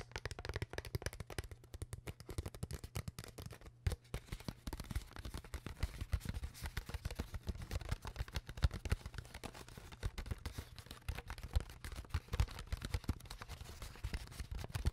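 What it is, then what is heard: Plastic water bottle. Long nails tap and scratch along the ridges of an empty, hollow, clear ridged PET plastic water bottle with its cap on, held in both hands close to the mic, while the hands also squeeze its walls. The result is a dense, continuous stream of quick, dry clicks and crinkly scrapes with a soft, thumpy low end and almost no ring.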